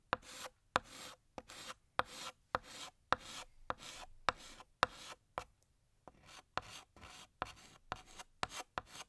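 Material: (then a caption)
Chalk. A blue chalk stick held in the fingers draws a balloon and its string on a large, flat, solid black chalkboard. Short, dry scraping strokes follow one another in a quick series, each starting with a sharp tap and a bright, gritty rasp with a faint squeaky tone. A brief pause breaks the run before the strokes resume.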